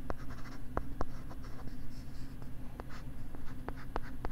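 A stylus writes and scratches across a pink plastic LCD writing tablet held close to the left side of the microphone. Soft, dry scratching strokes are broken up by sharp, brief taps over a steady low hum.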